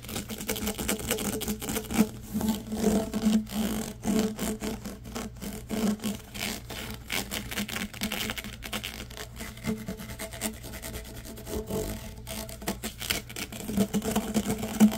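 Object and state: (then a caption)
Corrugated plastic tube. Fingernails and fingertips scratch and run along the ridges of a long, yellow, ribbed, hollow, flexible plastic tube. The result is a dense, rapid ratcheting rasp of many quick clicks, with a steady low tone underneath and a thin bright edge.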